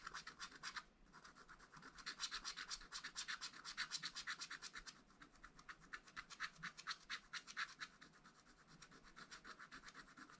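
A wooden stylus scratches repeatedly at the black wax coating of a flat, spiral-bound scratch-art paper pad, filling in a flower. Dense, quick, dry scraping strokes sound bright and papery, with short gaps and almost no low end.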